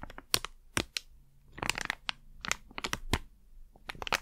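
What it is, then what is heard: Crinkled plastic packet. A small plastic Blu Tack pouch is crinkled, flattened and rubbed with fingertips and long nails. It gives a run of sharp, bright crackles and crinkles with softer scratchy rustling between them. Each sound stops almost at once.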